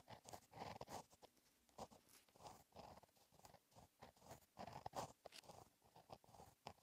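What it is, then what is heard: Pen writing on a paper notebook page. A pink gel pen with a metal tip writes cursive on a flat black lined paper notebook page. Soft scratching strokes come in quick bursts with short pauses between them, centered in the midrange with faint bright edges.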